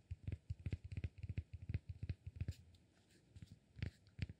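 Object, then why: Cork block. Fingertips tap and scratch the flat face of a palm-sized, solid cork block. Quick, dull, low thumps come in an irregular patter with faint scratchy texture, each dying away almost at once. The tapping thins into a quiet stretch midway, then a few firmer taps return.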